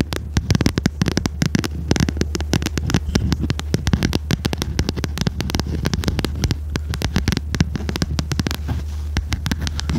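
A small red notebook with a cardboard cover and metal spiral binding is held upright while long red nails tap rapidly and continuously on its cover. The taps are short, dry clicks over a steady low hum.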